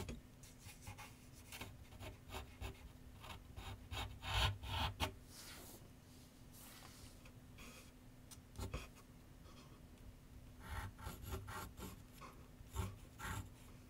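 A pencil tip scratches sketch lines on a large white paper sheet mounted on a board on a wooden easel with solid backing. Dry, scratchy strokes come in irregular bursts with soft low thumps from the board, louder flurries near the start, middle and end, over a faint steady low hum. Each stroke stops quickly with almost no ring.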